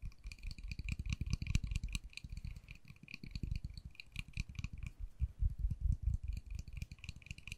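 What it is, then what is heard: Plastic case. Long nails tap and click rapidly on the face of a small, hollow, white-and-pink plastic case held upright. The taps come in a quick, uneven patter: dull, hollow low thuds with short, bright clicks on top, each dying away almost at once.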